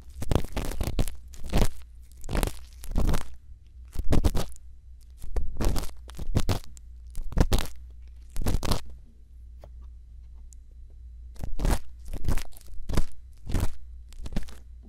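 A thin bamboo earpick scrapes the ear canal entrance and concha of a white silicone ear microphone. Short bursts of close, crunchy scratching and scraping come in clusters separated by brief pauses. A steady low hum runs underneath throughout.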